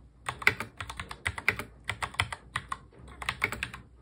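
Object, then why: Plastic mechanical keyboard. Fingertips of both hands touch-type fast on a full-size black plastic mechanical keyboard. About two dozen quick, sharp keystrokes click in uneven bursts, each bright and clacky with very little low end and almost no ring.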